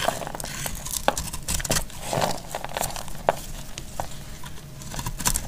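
A utility knife blade scrapes and shaves crisp flakes off a solid, hand-sized bar of dried red soap held in the hand. The clip is a steady run of dry, crackly scrapes with sharp, bright snaps as flakes break away, over a faint low background hum.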